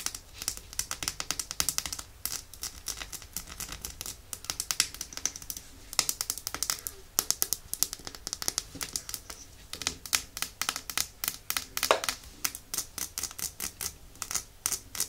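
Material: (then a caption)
Glass. Long nails rapidly tap the glass sides of a small, full, red glass nail polish bottle held in both hands. The result is a quick, steady stream of bright, crisp clicks with almost no low end, each tap dying away almost instantly.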